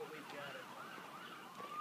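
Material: Nothing is struck.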